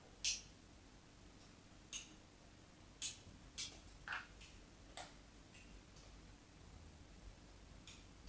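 A craft knife blade scores repeated parallel grooves into the surface of a solid white bar of soap held steady. Seven short, bright, crisp scraping ticks stand out over a quiet low background hiss, each fading quickly.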